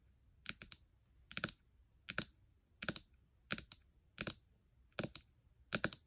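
Long nails and fingertips tap and scratch the glass trackpad and nearby keys of a gold MacBook Air, a thin aluminium laptop. Eight short bursts of quick, bright, clicky taps are heard at a steady pace, each with almost no ring, separated by quiet gaps.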